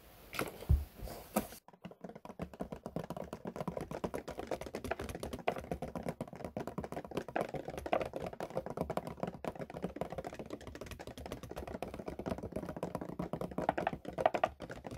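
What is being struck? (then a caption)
Plastic milk bottle. A large white opaque plastic (HDPE) milk bottle with a screw cap is held upright and tapped on its sides with fingertips and nails. A few heavier knocks open the clip, then a brief pause gives way to a steady stream of fast, light, dry taps with a hollow, mid-pitched plastic tone, sounding much like rapid typing.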